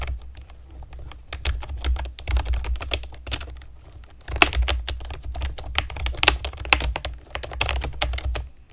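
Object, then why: Plastic keyboard with round keycaps. Long nails and fingertips type on a pastel plastic keyboard with round keycaps, producing rapid, crisp clicks with sharp, bright attacks that die away almost instantly. The tapping comes in uneven bursts and grows denser after a brief lull near the middle, over a steady low rumble.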